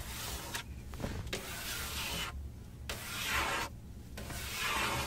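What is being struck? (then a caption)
Textured plastic car dashboard panel. A large, solid, textured plastic car dashboard panel is rubbed and scratched with a flat hand and long nails. Broad, bright scratching strokes alternate with short quiet gaps and a steady low rumble underneath.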